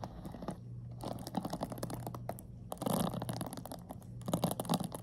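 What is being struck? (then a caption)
Plastic paddle hairbrush with pin bristles. Long nails scratch and flick through the ball-tipped pin bristles of a black plastic paddle hairbrush, making a dense run of crackly, crunchy scratches and quick clicks. A steady low hum sits underneath, and the scratching swells into louder bursts around the middle and again near the end.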